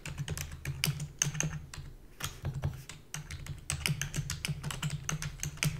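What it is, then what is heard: Plastic computer keyboard. Rapid typing with long fingernails and fingertips on a full-size black plastic keyboard with a hollow body. It produces quick, bright clacking clicks over a low, hollow thump, each dying away almost at once. The typing eases briefly in the middle before picking back up at a fast pace.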